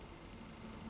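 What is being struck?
Nothing is struck.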